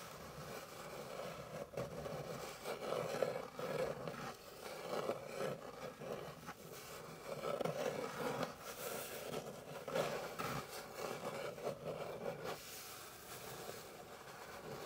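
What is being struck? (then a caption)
Wooden board. Long pink nails scratch across a flat, light, solid wooden board, making a continuous dry rasping concentrated in the midrange. The scratching swells and eases in waves, with a few brief breaks between strokes, and stays fairly quiet throughout.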